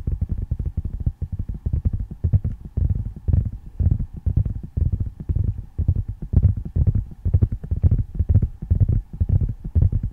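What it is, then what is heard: Tablet in a plastic and glass case. Fingertips and nails tap and scratch the back and edges of a flat handheld tablet in a dark plastic and glass case, held upright behind the microphone. Dense, rapid clusters of soft, dry taps land with a deep, boomy low thump and no ring. Faint scratchy texture sits above them.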